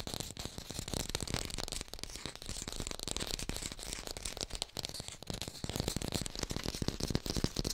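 Fingers tap quickly on an artificial pear, recorded in high fidelity. A dense, steady run of short, dry clicks with soft low thumps and a bright, crisp top. No ring-out, and the level stays even throughout.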